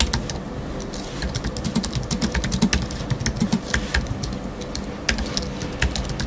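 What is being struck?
Aluminium and plastic computer keyboard.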